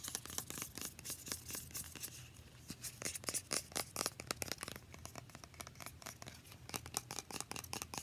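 Long painted nails rapidly tap and scratch a small, partly filled, translucent plastic facial spray bottle. The result is a quick, irregular run of sharp, bright clicks and short scratches that die away almost instantly, all at a quiet level over a faint, steady low hum.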